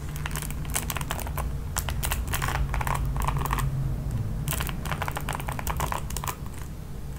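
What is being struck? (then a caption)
Plastic paddle hairbrush with nylon bristles. A red plastic paddle hairbrush is held up while long nails strum across its ball-tipped nylon bristles. The result is quick, uneven bursts of bright, dry clicking and flicking, like rapid light typing, over a steady low hum.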